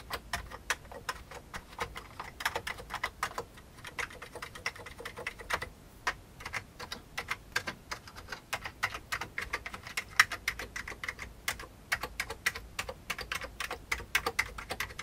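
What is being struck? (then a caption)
Plastic computer keyboard keys. Fingertips type steadily on an old beige full-size plastic keyboard with hollow keycaps, producing a continuous stream of short, crisp key taps. The clicks are bright and hollow-sounding, centered around 1.9 kHz, with very little low end. Each tap dies away almost instantly, with brief pauses between bursts of typing.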